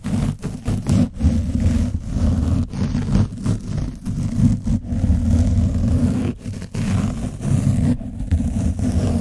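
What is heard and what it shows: The edge of a foam sponge brush scratches over an orange foam microphone windscreen coated in dried paint, while a hand rubs across the cover. The result is a dense, continuous, muffled scratching and rubbing, heavy in low rumble around 100 Hz, with almost no bright content and brief dips between strokes.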